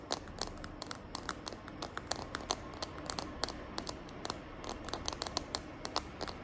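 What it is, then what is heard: Plastic phone case tapped with nails. Long nails tap and scratch the back of a small, hand-held smartphone in a green glitter plastic case. A rapid, uneven series of sharp, bright clicks rises over a soft, continuous scratchy rustle, with each click stopping almost instantly.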